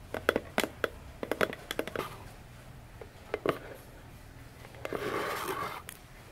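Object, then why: Small cardboard box. Long nails scratch and rub along the sides of a small, hollow orange cardboard box with silver foil print standing upright on a table. A quick run of sharp, dry clicks and scratches comes in bursts, then a softer, sustained rubbing scrape that fades out with a brief bright flick.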